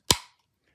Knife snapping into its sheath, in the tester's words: locks nice and tight the knife in the sheath has a very nice retention